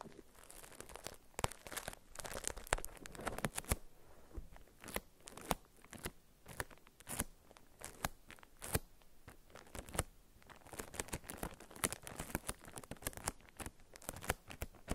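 A small solid soap bar in a paper wrapper, lying on a felt mat, is tapped and scratched with long nail tips. It gives a steady run of sharp, dry clicks mixed with scratchy, crinkly paper rustle that reaches up into bright highs. Each tap dies away almost at once.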